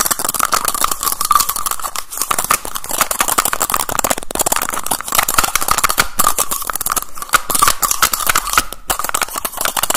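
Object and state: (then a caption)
Plastic tube case with caps. A small teal plastic cylindrical case has its cap pulled off and pushed back on quickly with the fingers. The result is a rapid, dense stream of sharp plastic clicks and snaps with a faint tone around 1.1 kHz and bright, crisp edges, continuing without pause throughout the clip.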